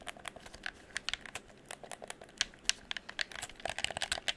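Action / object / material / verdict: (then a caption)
tap / plastic game controller / plastic / none. Fingertips rapidly click the buttons and tap the plastic shell of a hollow red plastic gamepad held close to the microphone. The result is a quick, irregular stream of sharp, dry, bright clicks and taps with almost no low end. Each click dies away almost instantly.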